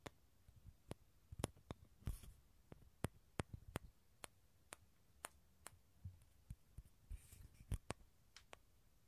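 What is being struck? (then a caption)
Dried gourd shell. Fingernails tap and scratch the outer surface of a small, hollow, dried gourd with a tan shell held above the mics. About 17 quiet, sharp, dry clicks with a soft low hollow body are heard, each dying away at once, with brief rough scratching bursts near 2 and 7 seconds.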